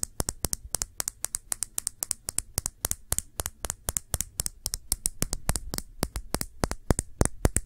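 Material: Glass.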